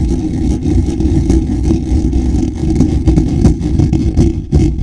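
Short fingernails scratch the lower edge of a hollow, black woven wire-mesh microphone grille. The result is a dense, low, rumbling scrape with irregular brief ticks, heavy in the bass with almost no bright content, holding a fairly steady level throughout.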